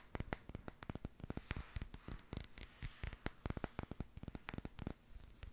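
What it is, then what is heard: Glass jar tapped with fingernails. Long painted nails tap and scratch the glass sides of a small amber glass jar with a white plastic lid, held close. About 29 quick, bright taps click in an irregular rhythm, each dying away almost at once, with soft scratching between them.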